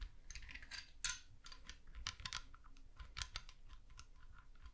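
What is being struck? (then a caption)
Spiral seashell tapped and scratched with a wooden stick. A small, hollow, white-and-tan spiral seashell with spiky ridges is held in one hand and scratched and tapped along its ridges with a thin yellow wooden stick held in the other. The result is a quiet, irregular run of dry, bright clicks and scratchy ticks that die away almost at once, over a faint low rumble.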